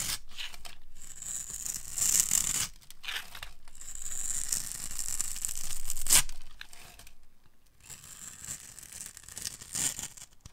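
A metal utility blade carves scored strips and cubes off the end of a hand-sized, orange bar of dry soap. Each pass makes a crisp, bright scraping and tearing hiss, with short pauses between stretches of cutting. A louder crack stands out near the end of the second stretch.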